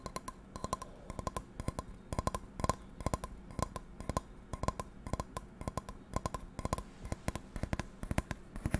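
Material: Metal.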